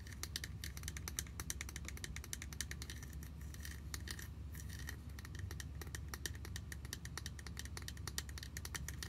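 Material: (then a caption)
Plastic. A small, yellow, hollow plastic My Little Pony toy picnic basket with orange handles and a heart is held in both hands and tapped and scratched with long nails. Rapid, short, bright clicks and scratchy ticks sound over a steady low hum.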